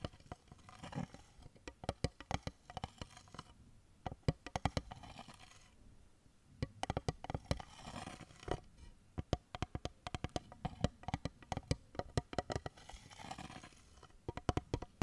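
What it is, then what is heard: Cardboard eyeshadow palette tapped with fingernails. Long fingernails tap the edges and mirror lid of a small, light, hollow pink cardboard eyeshadow palette held open with the mirror up. Quick, dry clicks come in irregular bursts with short pauses, each tap dying away almost at once. The sound is soft and low-toned, with little brightness.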